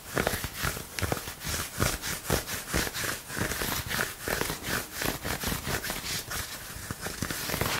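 Fingertips and nails scratch and rub the sleeve of a dark green long-sleeve shirt, likely cotton, worn on the forearm. Quick, rhythmic bursts of dry, bright fabric scratching repeat steadily, with a soft low rustle beneath each stroke.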